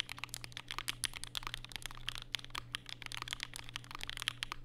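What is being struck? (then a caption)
Mechanical keyboard with plastic keycaps. Fingertips type rapidly and continuously on a compact black Vega mechanical keyboard with plastic keycaps and Durock POM switches, resting on a desk mat with a white wrist rest. Each keystroke is a short, bright, crisp click or clack with almost no ring, centred around 3 kHz. Underneath runs a faint, steady low hum.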